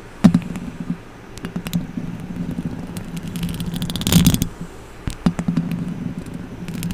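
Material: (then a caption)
Metal. Long acrylic nail tips scratch and tap the hollow metal mesh grille of a silver microphone, with fingertips brushing it near the end. Sharp, bright clicks and taps sit over a steady low hum, building to a denser scratching burst around the four-second mark before scattered taps return.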